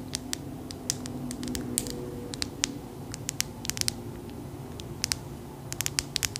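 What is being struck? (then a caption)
Glass crystal ball tapped with fingernails. Long acrylic nails tap on a clear, solid glass crystal ball about the size of a palm, held in the hand. Many short, bright clicks with almost no ring come in irregular bursts over a soft, low background hum.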